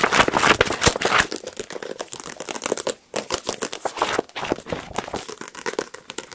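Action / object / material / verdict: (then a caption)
tap / paperback book with glossy card cover / paper, card / none. A paperback copy of "The Power of Now" with a solid, glossy card cover, held in one hand, is rapidly tapped and scratched on the cover with fingertips and nails. Dense, fast, crinkly taps and bright scratching come loudest in the first second, pause briefly around the three-second mark, then continue in quick, uneven bursts.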